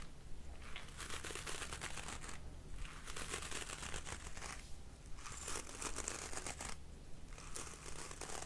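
Fingertips scratch across the dark bristles of a black plastic paddle hairbrush set on a pink rubber cushion. The result is bright, crinkly scratching in repeated passes, separated by brief quieter pauses, over a steady low hum.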